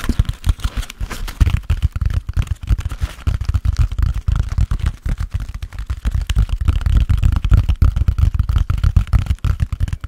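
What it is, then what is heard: Foam sponge. Fingertips and nails scratch and tap the surface of a hand-sized, soft, solid grey porous foam sponge with a foam handle, held up close. The result is a dense run of soft, muffled low thumps and brushing scratches with almost no high-frequency ring, each tap dying away almost instantly.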